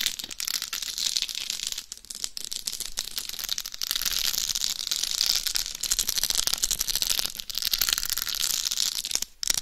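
Long nails scratch across a life-size binaural dummy head microphone covered in rhinestones over a hard shell, first on the top of the head and then on the face. The result is a dense, bright, gritty scratching and crackling with very little low end, broken by a few brief pauses.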